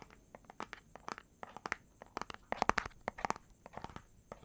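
A small, hollow, clear plastic bottle with a pink cap and white label is held in one hand close to the microphone while the fingertips and nails of the other hand tap and scratch it quickly. About two dozen short, dry, crinkly clicks centered around 1 kHz stop instantly with no ring, and they grow louder near the middle of the clip. A faint, steady high hiss runs underneath.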